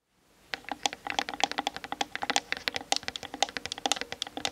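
A Canon DSLR camera on a tripod has its hollow plastic body and lens barrel tapped quickly with the long acrylic nails of both hands, recorded through the camera's built-in mic as contact sound. A rapid, uneven stream of sharp, dry clicks begins after a short silence; each is very brief, centered around 790 Hz with bright high ticks and almost no low end.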